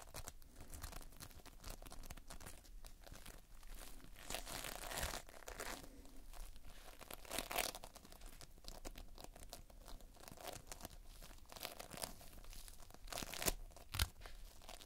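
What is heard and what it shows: Fingertips press into, squeeze and scratch across a large, soft mound of sticky multicolored polystyrene bead playfoam, tiny foam beads held together by a binder, solid and moldable. Dense, continuous crackling, crinkling and tearing sounds come close up, with brief bright scratchy bursts. The quiet texture has a low rumble underneath.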